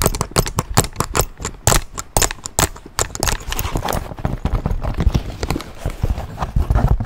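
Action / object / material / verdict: tap / leather satchel bag / leather / none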